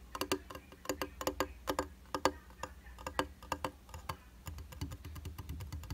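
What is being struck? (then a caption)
Glass vanity mirror in plastic frame. Fingertips and nails tap quickly across a round glass makeup vanity mirror in a white plastic frame, dry and solid. The result is a rapid series of sharp, clicky taps with a brief glassy ring around 520 Hz and bright edges, over a low, steady background rumble that thickens toward the end.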